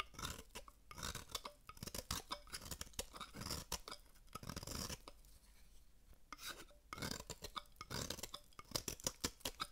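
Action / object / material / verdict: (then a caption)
scrape / bar of soap scraped with a metal blade / soap / none. A metal blade scrapes and carves flakes from the face of a dry, solid oval red-pink bar of soap held in one hand. It makes bright, crackly scraping bursts and quick crisp clicks with almost no ring. A quieter, softer stretch sits in the middle before the crunchy cuts pick up again.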